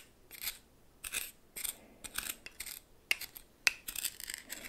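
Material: Salt.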